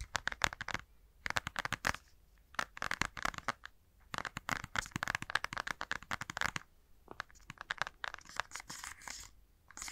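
A plastic Nintendo Switch handheld console with Joy-Cons attached is held in both hands and tapped and scratched with fingertips and nails. Dense bursts of sharp, crisp clicks and scratchy ticks alternate with brief quiet pauses throughout.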